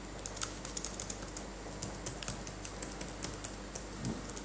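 Latex-gloved fingertips type and tap on a dirty backlit laptop keyboard with plastic keys. A quick, uneven run of light, bright clicks sits over a steady low hum, with each tap fading almost at once.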